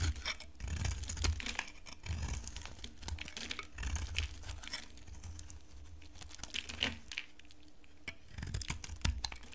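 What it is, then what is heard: Dry bar soap. A utility knife carves into a solid, dry pink bar of soap held in a long-nailed hand. Crisp scraping and crumbly, crackling cuts come in quick bursts over soft, low thuds. The flakes shave off steadily for the whole clip.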